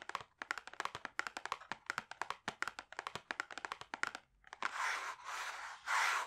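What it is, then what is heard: Cardboard gift box. Fingertips rapidly tap the front face of a hollow, closed, rigid pink cardboard cosmetics box held in both hands, producing dozens of short, dry, crisp taps with a papery tone centered around 1.4 kHz. After a brief pause, the fingertips lightly rub the same face in three longer, breathy, bright swishes.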